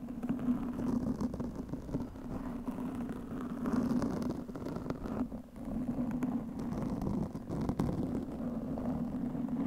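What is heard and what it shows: Long nails of both hands scratch a black foam windscreen on a studio microphone, making a steady, muffled scratching and rustling. The sound has a dense low-mid rumble and almost no high content, with soft swells and dips in level across the clip.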